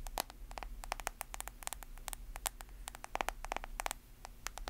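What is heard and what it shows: Long nails tap and scratch the screen and white plastic case of a solid, hand-sized, black-screened smartphone. The result is a rapid, uneven string of sharp, dry clicks with bright tops, cutting off almost instantly over a quiet, steady low hum.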